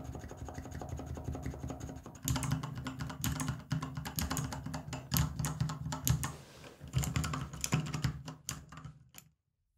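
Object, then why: Plastic mechanical switch tester with keycaps. A small square acrylic-framed switch tester with many mechanical switches and plastic keycaps sits on a wooden table and is pressed with the fingertips of both hands in a typing motion. Soft, rapid clicking over a steady low hum turns into louder, sharper clacking bursts after about two seconds, with brief pauses between runs. The keystrokes then die away into near silence at the end.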